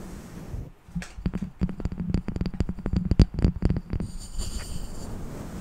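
A small, solid, flat round light-wood candle jar lid resting on a fluffy-covered microphone is tapped and lightly scratched with the long dark-painted nails of both hands. Quick, irregular dull knocks with bright clicky edges fill the middle of the clip, then give way to a softer, hissy scratching at the end. Faint whispering may be mixed in.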